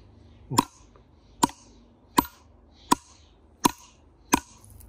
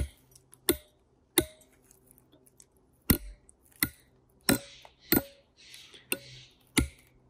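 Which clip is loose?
The second.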